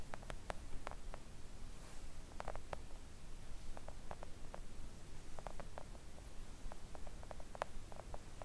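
Long acrylic press-on nails on both hands tap gently on a flat, thin, solid pink silicone nail art mat printed with nail designs, lying on a table. The quiet, short, soft clicks come in scattered clusters over a low, steady background rumble, each tap dying away almost instantly.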